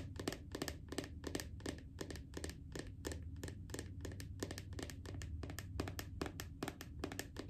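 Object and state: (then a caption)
Plastic cosmetic tub tapped with fingernails. Long acrylic nails tap rapidly and steadily on the printed lid of a small round red plastic body butter jar. Each tap is a short, bright click that dies away almost at once, over a constant low rumble underneath.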